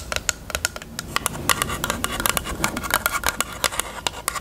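Long nails tap on the lash tray area of a small hollow pink plastic eyelash case with a mirror lid. Quick, irregular sharp clicks follow one another across the clip, bright and hollow-sounding with a tone near 1.1 kHz. Each tap dies away almost instantly over a faint background hiss.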